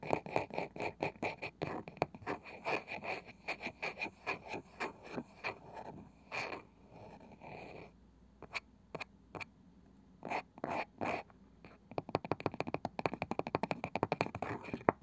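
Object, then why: Small round wooden box with cane side. Long nails tap and scratch on the light wooden lid of a small round wooden box with a woven cane side, likely hollow. Quick, dry, clicky taps come in fast runs, broken by a brief soft scratching passage and a few sparse knocks. A dense burst of rapid tapping closes the clip.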